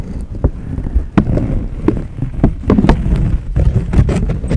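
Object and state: Paper banknote.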